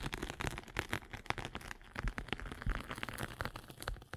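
A metal-needled derma roller is rolled over the abrasive top of a flat gray and blue foam sanding sponge held in the palm. It makes a dense, gritty crackling with quick scratchy bursts over a low, muffled rumble, rising and falling in short waves throughout.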